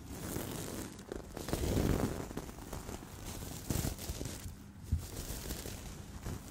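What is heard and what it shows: Fingertips of both hands rub and flip the plastic sequins on a soft, stuffed pink and gold sequin-covered cushion. The result is a continuous crinkly, scratchy rustle, with louder swells and sharper clicking flips as the sequins turn over.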